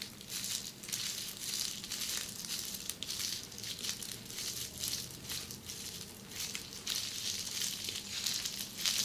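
Long red-painted nails scratch and press the bubbles of flat red plastic bubble wrap in close-up. A steady, dense stream of bright, crinkly crackles and scratches runs throughout, with little low-end body and short, dry tails.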